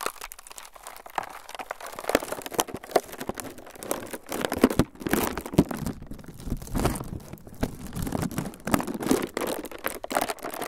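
A clear, hollow, air-filled plastic packaging cushion is squeezed and crinkled with the fingertips of both hands above the recorder. It gives a steady stream of dense crackling and crinkling, with irregular louder bursts of rustle and crunch throughout.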